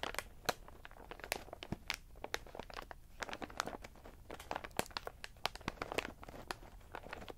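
Index fingertips tap and press on the clear window of a medium plastic snack bag full of in-shell pistachios lying flat, crunching the shells against the plastic. A quick, uneven run of short, sharp crinkles and crunches follows, each clicking off at once. Soft rustling fills the gaps between them.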